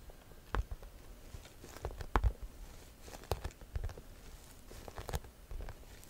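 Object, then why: Croc-embossed faux leather handbag. Long nails scratch the front panel of a hollow, cream croc-embossed leather or faux leather shoulder bag. The result is a quiet run of short, dry scrapes and soft taps with a dull, low body and brief bright edges, separated by faint pauses.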